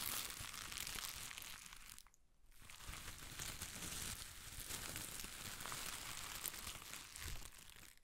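A ball of thin pastel shredded paper strips is held close and squeezed and crinkled with the fingertips of one hand. It makes a dense, bright crackling rustle, with a brief near-silent pause around two seconds before the crinkling resumes steadily.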